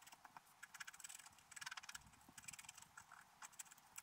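A wooden stylus scratches short strokes along the bottom grass area of a wax-coated scratch art card lying flat on a table, with a brush lying unused beside the sheet. The clip is a quiet, rapid series of dry, bright scratching bursts, mostly high in pitch, with almost no low end and no ring after each stroke.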